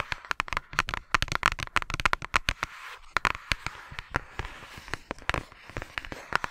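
Long nails tap and scratch the surface of a flat, thin yellow paper or cardstock envelope held in front of a microphone. Rapid, irregular crisp taps and crackly paper scratches come one after another, each dying away almost instantly.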